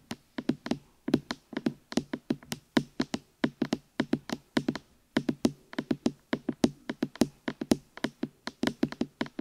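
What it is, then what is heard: Silicone microphone ears tapped. Fingertips knock and tap on the hollow rubber or silicone ear pieces of a black binaural microphone. The result is dozens of quick, dry, hollow thuds around 240 Hz, each with a sharp, bright click and almost no ring. They come in rapid uneven runs, with brief gaps near one and five seconds.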